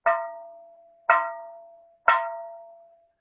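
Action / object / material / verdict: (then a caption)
tap / ceramic bonsai pot / ceramic / low-fired. A low-fired ceramic bonsai pot, held from below, is tapped three times about a second apart to judge its firing temperature by sound. Each tap gives a sharp knock with a clear ringing tone that fades over roughly three-quarters of a second.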